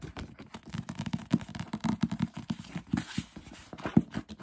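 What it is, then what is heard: Paperback book. Fingertips tap quickly on the glossy paper cover of a thick paperback novel, then tap and riffle the edges of its paper pages. A fast run of dull, low, dry taps decays almost instantly, with a soft papery rustle from the riffled pages partway through.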